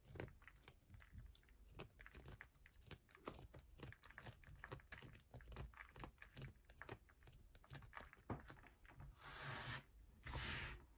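A solid yellow bar of soap is scratched and tapped with long nails, making a quick run of crisp clicks and scrapes over a low soft thud. Near the end come two longer, brighter hissing scrapes, and one hand rests on a mat.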